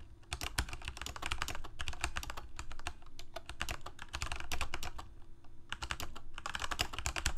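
Fingertips of both hands rapidly type on a full-size Corsair mechanical keyboard with plastic keycaps on mechanical switches, a hollow plastic case and blue backlight. A steady stream of quick, sharp clacks has bright high tops over a hollow low thud, with a brief slowdown around the 5.5-second mark before the fast typing resumes.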